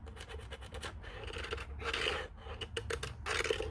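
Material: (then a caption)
Plastic. Fingertips and nails tap and scratch quickly over the speaker grille and the casing around the keypad of a white, hollow plastic Panasonic corded desk phone. Quick, light taps give way to longer, bright scratching rasps over a faint low hum. A hollow plastic tone sits around 460 Hz.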